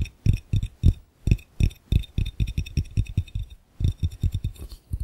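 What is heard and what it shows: Fingertips tap quickly on the base of an empty, hollow, clear glass fishbowl while the other hand holds the rim. The taps come in quick runs with short pauses: deep, dull thuds with a faint bright glassy ring above them, each dying away almost at once.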